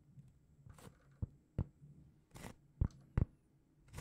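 A large, flat, round solid cork trivet is held in both hands and scratched with long painted fingernails. Soft, brushy scratching swells alternate with short, dull, low-pitched taps in an uneven rhythm. The sound is quiet and deep, with almost no ring after each stroke.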